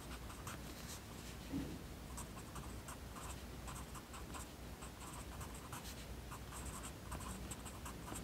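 A yellow wooden pencil writes by hand on the lined page of an open paper notebook resting on a desk. Its tip makes a steady, quiet scratching with short bright strokes, over a low background hum.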